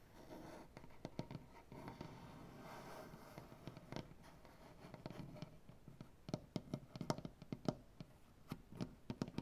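Fingernails scratch and tap on a solid maple butcher block tabletop, with fingers scratching along a crack in the wood. The first half is a soft, steady scratching rustle; the second half turns into quick, sharp nail taps that stop dead with almost no ring, over quiet low-pitched scraping.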